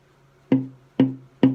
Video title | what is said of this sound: Baritone Ukulele Top Tap Tone Comparison | the frequencies higher but the sound seems a little bit lower and yet a little more body to it